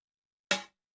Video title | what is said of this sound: Pagani Design PD1780 Six months review | you can hear it tapping straight onto the table rather than the bezel tapping first. The glass is going to tap first.